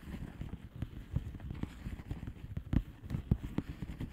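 Long nails tap the bubbles of a flat blue plastic bubble wrap envelope. The taps come as quick, irregular, soft dull thuds that are low and muffled, with a few louder knocks. Each dies away almost instantly.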